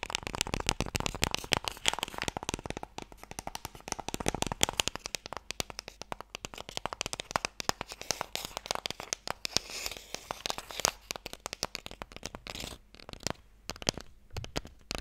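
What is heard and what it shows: Fingernails tap rapidly on the sides of a closed, small, hollow wooden Mikado box held near the mic. The result is a dense, continuous stream of dry, bright clicks with almost no ring, varying in loudness throughout.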